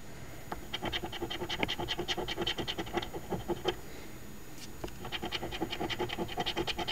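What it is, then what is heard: Scratch lottery ticket being scratched. A coin rapidly scratches the latex coating off the number spots of a thin, flat card Ontario OLG $2 Quest For Gold instant scratch lottery ticket (#2445), which lies on a table held by one hand. Quick, bright, raspy strokes repeat in a steady flurry, then stop briefly while the coin is lifted off the ticket before the scratching resumes.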